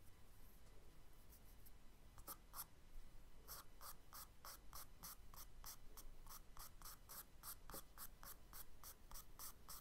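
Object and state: Charcoal strokes on kraft paper.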